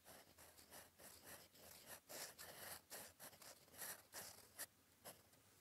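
A gold metal fountain-pen nib, held in fingers, scratches across a flat sheet of cream lined paper on a desk while writing cursive. The sound is a quiet, bright, dry scratching in short irregular strokes, each fading almost instantly, with a faint low hum underneath.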